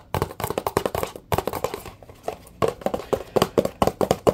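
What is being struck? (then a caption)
Plastic squeeze bottle. A blue plastic Dawn dish soap bottle held close is tapped with fingertips and nails on its side and base. The result is a fast, uneven run of short, dry, hollow plastic clicks with a mid-range knock and little ring. Brief quiet gaps break up the run.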